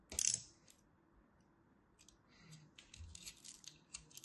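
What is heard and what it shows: A craft blade cuts and chips the edge of a solid orange-and-white striped dry soap bar held in the hand. A loud, bright scraping crack opens the clip. It is followed by a string of faint, crisp high-pitched clicks and chips as small bits break away.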